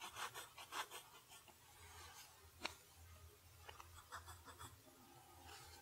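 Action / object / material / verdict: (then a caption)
scrape / steel pen nib on a paper sheet / paper / none. A steel fountain pen nib scratches across a flat lined paper sheet while writing cursive. Soft, bright, papery scrapes come in quick, uneven strokes, with one sharper tick partway through, over a faint low hum. The strokes stay quiet and dry, with no ring after each one.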